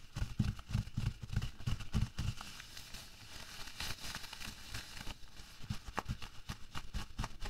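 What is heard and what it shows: Bare fingertips with long nails press, rub and scrunch thin, empty latex gloves lying flat on a white table. An irregular run of soft, dull, low thumps and squeaky rubbing settles into a quieter stretch of bright crinkly rustling, then the thumps return. The overall sound is muffled and close, with little ring after each press.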